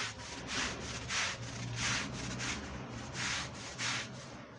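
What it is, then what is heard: Wool rug being scrubbed. A long-handled push brush scrubs a red woven wool Persian rug that is wet with brown, dirty foam. Repeated bright, hissing back-and-forth strokes swell and fade at an uneven pace over a steady low hum underneath.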